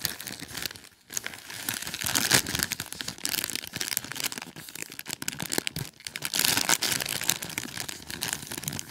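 A small white paper gift bag printed with red stars, with a clear plastic star window and filled with popcorn, is squeezed, opened and crinkled by fingertips with short nails. Dense, bright crinkling and crackling runs throughout with quick rustling bursts, louder around the middle and later in the clip.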